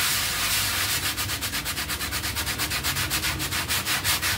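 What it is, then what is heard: Soapy textile pile rug being scrubbed. A bristle hand brush scrubs a half-round textile pile rug covered in foam in fast strokes. It makes a bright, hissy, wet scrubbing noise that pulses steadily at nearly three strokes per second, with little low end.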